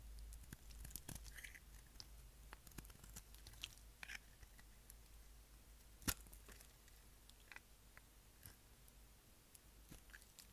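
A utility knife blade shaves the corner of a dark speckled dry bar of solid soap held in the hand, making quiet, dry, crackly scraping and short bright clicks. One sharper, louder crack stands out about six seconds in. A steady low hum sits underneath throughout.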